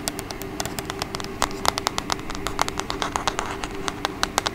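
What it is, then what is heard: Plastic TV remote tapped with fingernails. Long acrylic nails rapidly tap and scratch the back and sides of a small, hollow, black plastic TV remote control held upright by the mic. The result is a quick, uneven run of sharp, bright clicks that stop dead with no ring, with faint scratching between them. A low, steady hum sits underneath.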